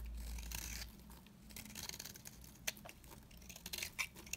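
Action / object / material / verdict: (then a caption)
scrape / bar soap cut with a blade / soap / none. A hand-held, dry, solid beige bar of soap, about palm-sized, is shaved and cut with a metal box-cutter blade so that curls and flakes peel off. Quiet, bright scraping and crisp flaking crackles are heard over a low hum, with sharp clicks where the blade bites in.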